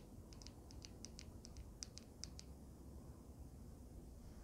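A small handheld vape mod with a swirled resin panel and solid metal frame is tapped and scratched with long nails. A quick series of bright, sharp ticks and clicks runs for about two and a half seconds over a steady low rumble. The clicks then stop and only the quiet low background noise remains.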